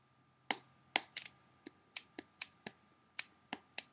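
Fingertips and nails of both hands tap quickly across the front cover of a closed, hollow, clear plastic CD jewel case held up in the air. The result is a run of quiet, irregularly spaced, sharp, bright plastic clicks, each dying away almost instantly, with one quick cluster of taps near the start.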